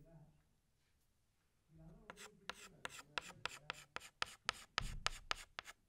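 Fingertips hold a green chalk stick and scratch it across a large flat black chalkboard while drawing leaves. After a quiet opening, thirteen short, bright, raspy strokes come in a quick, uneven rhythm, with a faint low rumble between them.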